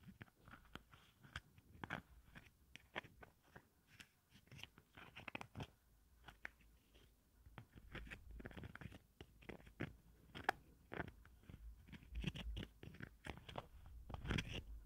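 Long nails scratch and tap the ridged green plastic lid and the sides of a small pink watermelon-print plastic cosmetic jar held in hand. The sound is a quiet, irregular stream of quick, dry, crunchy clicks and raspy scrapes, each dying away almost instantly, with denser clusters near the end.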